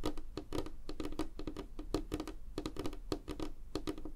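Fingernails of both hands tap rapidly and lightly scratch across a solid, flat, light wooden tabletop. The result is a dense stream of short, dry clicks with almost no ring, a hollow woody tone around 300 Hz, and bright crisp edges under soft scratching.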